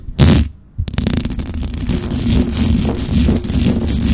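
Long acrylic nails scratch and tap the hollow metal mesh grille of a black microphone. A short loud burst is followed by a brief near-silence, then fast, continuous rustling scratches with quick taps. The sound is dense, close and boomy, heavy in the low end with a faint crackly hiss on top.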